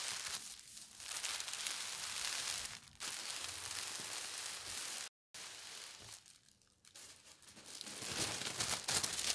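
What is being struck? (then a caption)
Thin tissue paper sheet. Palms and fingertips with long red nails smooth and rub a thin white tissue paper sheet lying flat, and lift one of its corners. The result is a steady, bright crinkling rustle with almost no low end. It breaks off in a brief silence midway, dips quieter for a moment, then grows louder toward the end.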